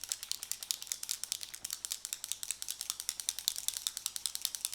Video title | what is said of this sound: TRYING MORE NEW MAKE-UP! (Milk Hydro Grip Gel Tint, Hourglass Palette, Huda Beauty and more!) | There is a little like metal ball in here. So, you can hear it if you shake it up.